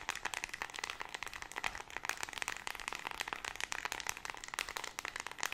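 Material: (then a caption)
Plastic. A small white plastic LED remote control with colored rubber buttons is tapped and clicked rapidly by long red nails, which also scratch across its plastic body. The result is a dense stream of quick, dry, bright clicks and scratchy ticks with almost no low end and no ring.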